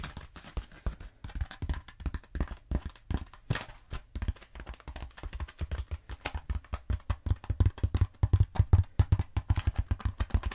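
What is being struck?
Foam roller.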